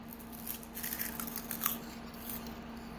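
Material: Dried kale.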